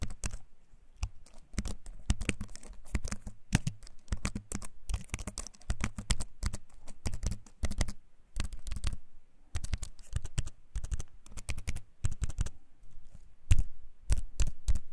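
A compact keyboard with a wooden frame and plastic keys is held up close and typed on with the fingertips, giving fast, clicky keycap taps in dense bursts. Each short tap is dry and quick to fade, with a low thud under the click, broken by brief pauses between runs of typing.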